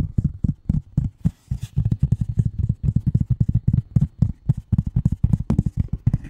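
Long nail tips of both hands tap on a flat gray cardboard sheet lying in front of the mic. The result is a rapid, uneven patter of short, dull, low thumps, each stopping almost at once, with a faint bright click on some of the taps.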